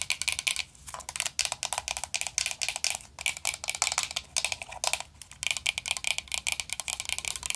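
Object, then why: Round metal powder compact. A round vintage gold-tone metal powder compact with a black rose print, closed and hollow, is tapped quickly with long nails. It gives rapid, bright, clicky taps that die away almost instantly, with a few brief pauses between bursts.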